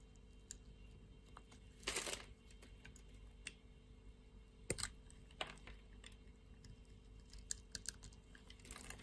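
A solid pink bar of soap, pre-scored into a grid and held in the palm, is scraped and cut with a metal utility-knife blade, shaving off small cubes. Quiet, bright clicks and crisp scrapes come in scattered bursts, with a longer rasping scrape near the two-second mark over a faint steady hum.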